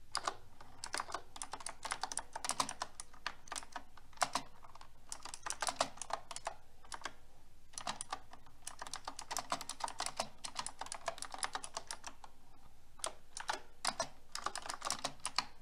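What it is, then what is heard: Mechanical keyboard with plastic keycaps. Fast fingertip typing with long red nails on a pink mechanical keyboard with round plastic keycaps and a metal frame. It makes rapid, sharp clicking clacks with a bright top and short decay, coming in dense bursts separated by brief pauses.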